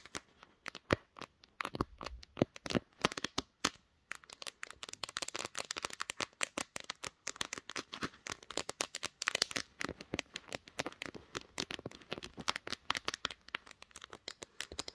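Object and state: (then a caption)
Glass-backed smartphone. Long nails on both hands tap rapidly on the glass back panel of a pink smartphone mounted on a tripod. The result is a dense stream of sharp, dry, bright clicks that die away almost instantly, with a brief pause near four seconds before the tapping resumes.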